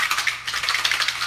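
A brain-supplement pill bottle of Mexican nootropics is shaken so the pills rattle inside. The result is a quick, bright, dry clatter of small pills against the bottle, with almost no low end.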